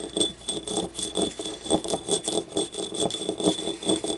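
Long nails scratch and tap the ribs and rim of a small, hollow, yellow glazed ceramic ribbed ramekin paint cup lying on its side. Quick, unevenly spaced clicky taps mix with raspy scratching over a faint steady high tone. Each tap dies away almost at once, with only a brief ceramic ring.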